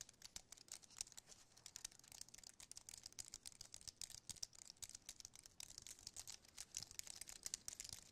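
Fingertips tap and type rapidly on the plastic keys of a slim white aluminium-and-plastic wireless keyboard held in the hand. The result is a quiet, dense stream of short, bright clicks that die out almost instantly, with almost no low end.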